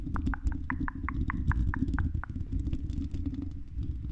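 Long red acrylic nails on both hands scratch the silver mesh metal grille of a hollow-dome condenser microphone. A rapid run of short, crisp scraping strokes sits over a heavy, rumbling low-end boom that fills the whole clip.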